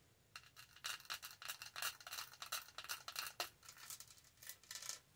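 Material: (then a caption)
Plastic. Long nails scratch and tap the lid and green straw of a tall black studded hollow plastic tumbler. It makes quiet, bright, crisp bursts of rapid scratching and light clicking with almost no low end, each sound stopping dry and short.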